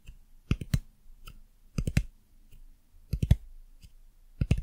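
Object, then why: Hard plastic lamp base and button. Long nails tap and click on the underside of a white dumpling lamp, hitting its hard plastic base and button. Four short clusters of sharp, dry clicks sound, each dying out almost at once, with quiet gaps between them.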